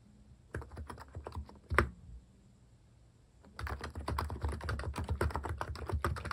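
Fingertip typing on the plastic cat-themed keycaps of a Hansung capacitive keyboard produces soft, deep, muffled thocks. A short burst of keystrokes ends with one louder strike, then a quiet pause, then steady, rapid typing through to the end.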